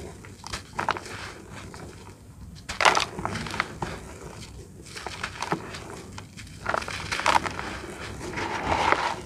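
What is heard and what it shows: Bare fingertips and palms crush and rub a hand-sized, packed block of dry, grainy red-brown dirt held over a basin of loose dirt. The solid but crumbly block breaks apart in dry, gritty crunches and bright crackling bursts. Loose dirt pours between the hands with a soft, steady hiss.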